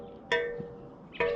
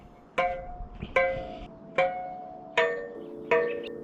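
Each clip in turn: First: loose bicycle spoke. Second: evenly tensioned bicycle spokes.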